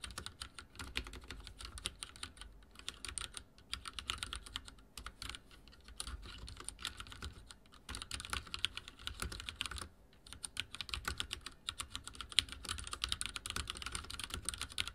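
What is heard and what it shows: Fingertips type on a backlit mechanical keyboard with dark plastic keycaps, producing a steady stream of bright, crisp key clicks. The clicks run in quick bursts separated by brief pauses, with a soft low rumble underneath.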